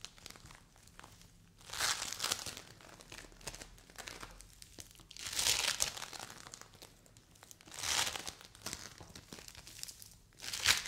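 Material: Polystyrene beads.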